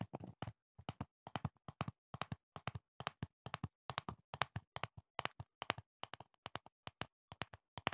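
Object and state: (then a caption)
Plastic jar of foam earplugs. A medium, hollow clear plastic jar with a black lid, full of green foam earplugs, is held beside the mic and tapped with the fingertips, sometimes partly behind the mic. Quick, dry taps land in short irregular bursts, each a bright click with a soft low thump and no ring.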